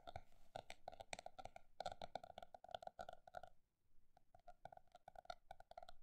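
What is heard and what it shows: A paper notebook is tapped with quick, dry, muted knocks that have a mid-pitched hollow tone around 700 Hz and die away almost instantly. A dense run of taps is followed by a brief pause near the middle, then the tapping resumes at a varied pace.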